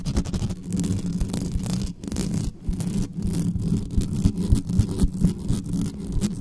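Long nails on both hands scratch fast and hard at the sides of the bare mesh grille of a dark metal USB condenser desktop microphone. The result is a dense, rumbling scrape dominated by low tones, with rapid, irregular strokes of about three to four per second and brief dips between bursts.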